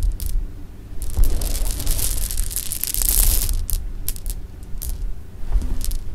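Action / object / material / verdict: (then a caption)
drop / pile of hard-shelled jelly bean candies / sugar candy / none. Fingertips and nails scoop, rub and drop a pile of small, solid, hard sugar-shelled jelly bean candies resting on pink fabric. The result is a dense, continuous clatter of bright little clicks and rustles over a low, soft rumble, swelling in busy bursts as the beans tumble and then thinning to scattered ticks.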